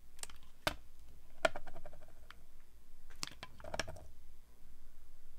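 A metal blade shaves thin slices from the edge of a solid, translucent orange rectangular glycerin soap bar held in both hands, with the cut pieces lying on a white table. Crisp, sharp clicking cuts come through at irregular intervals over a soft, low background hum, each snap dying away almost instantly.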